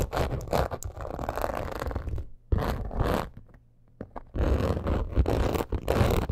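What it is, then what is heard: Croc-embossed leather purse. Long acrylic nails scratch quickly over a black crocodile-embossed leather purse. The result is a dense, raspy scratching with a heavy low rumble and soft textured grit. Bursts of scratching are broken by a brief near-silent pause around the middle before the rapid scratching resumes.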